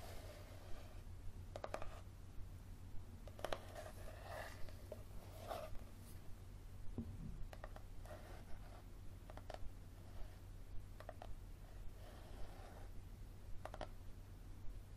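Fingernails scratch the card back cover of a yellow paperback book held tilted, making short, quiet, papery scraping strokes in an uneven rhythm. A steady low hum runs underneath throughout.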